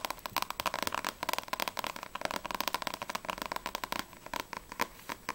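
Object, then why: Paperback book with glossy card cover. Long nails tap rapidly on a single Blue Exorcist vol. 2 paperback manga with a glossy card cover and solid paper pages, first on the front cover and then on the back cover. Some 27 quick, dry, bright clicks come through with almost no ring and very little low end.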